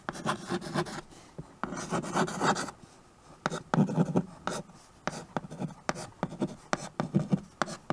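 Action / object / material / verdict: scrape / chalk on a painted tabletop chalkboard / chalk / none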